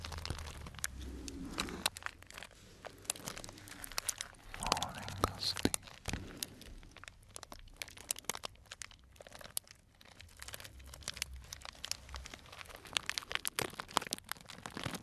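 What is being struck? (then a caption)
Cellophane bag of dried tea pieces. A small clear cellophane bag tied at the top and full of dried brown tea or fruit pieces is squeezed with the fingertips. It gives off dense, bright crinkling and crunching with many short sharp clicks over a faint low hum throughout.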